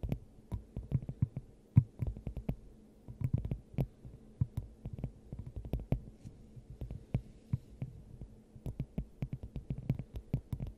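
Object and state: Glass dome over a microphone.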